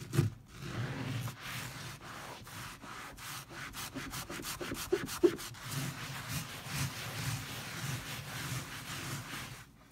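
A wet, foamy leopard-print fabric pile rug is rubbed and scratched directly with the fingertips and nails of both hands, with no tool. The result is a steady, soft scrubbing hiss over a low, muffled rumble, with rhythmic scratchy bursts and a few sharp louder scrapes near the start and middle.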